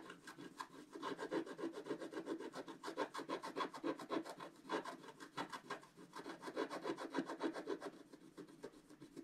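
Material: Waxed paper.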